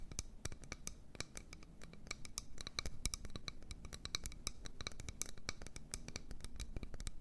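Long nails tap and scratch rapidly on the outside wall of an empty, medium-sized solid wood bowl held in both hands. The result is a dense, fast run of short, sharp clicks with bright upper overtones over a soft, low scratching rumble.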